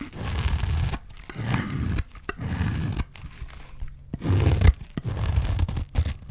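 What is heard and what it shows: A utility knife blade scrapes along the face of a solid bar of dry green soap, peeling off shavings. Each pass makes a dry, rasping scrape with a heavy low rumble and a bright crackle, separated by brief pauses, and one louder stroke lands near the end.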